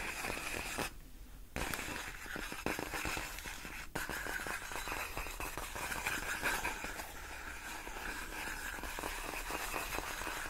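Long nails scratch and press the film of large, clear, inflated plastic air-column cushion wrap, its hollow air-filled tubes giving off dense, bright crinkling and scraping. A short near-silent pause early on is followed by sharp snapping clicks over the continuous rustle.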